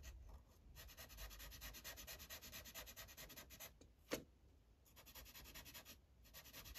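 The felt tip of a yellow Sharpie marker rubs back and forth across a thin paper coloring page on a clipboard, making a steady, bright scratchy hiss of repeated coloring strokes. Midway the strokes pause, a single sharp tap sounds, and then the rubbing resumes.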